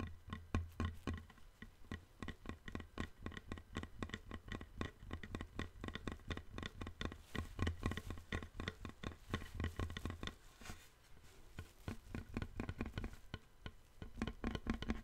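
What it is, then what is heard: Wooden plank. A long, thin, flat, light-colored solid wooden board, held diagonally, is tapped and knocked with fingertips and nails. Rapid, irregular, dry taps patter throughout, each with a short knock and a low woody body, and they soften briefly around the middle before picking up again.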